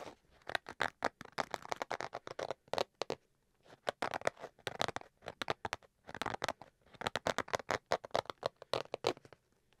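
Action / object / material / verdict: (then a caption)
scrape / fabric-covered hard-shell carrying case / fabric / none. Fingers scratch the surface of a black, zippered, fabric-covered hard-shell Switch carrying case, held upright in one hand close to the mic. Quick, dry scratching strokes come in dense bursts separated by short pauses. The sound is mostly mid-range with a bright, papery edge and almost no low end.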